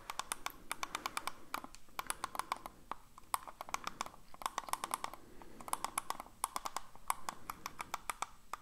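A hollow black plastic computer mouse, held in one hand, is tapped and clicked with the fingers in quick, irregular bursts. Each sharp, dry click dies away almost instantly, with a bright, hollow tone centred near 1 kHz over a soft background.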